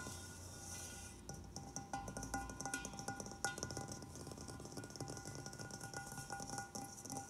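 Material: Stainless steel.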